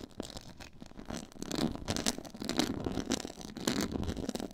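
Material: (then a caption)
Faux leather. Long nails scratch along the edges of a black quilted, pyramid-textured faux leather board. The result is a steady run of dry, gritty scraping strokes with bright, hissy highs over a low body.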